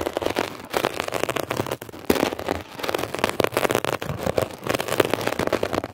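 A metal ear pick scratches quickly across a blue mesh-covered textured foam scrub sponge. The result is a dense, steady stream of dry, crackly scraping with a papery midrange character and little low end. Short bursts run together with only brief dips between them.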